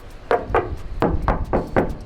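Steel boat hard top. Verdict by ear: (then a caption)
Solid. The freely hanging steel hard top on the upper deck of a 2012 Bering 60 Explorer yacht is knocked six times. Each knock gives a short, solid metallic thunk that dies away quickly. The sound is consistent with steel.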